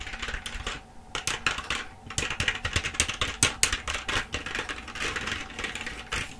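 Rapid typing on a black plastic full-size keyboard held up in front of the face, struck with the long nails and fingertips of both hands. Dense streams of bright, short plastic clicks and clacks run throughout, with brief quieter gaps near one and two seconds.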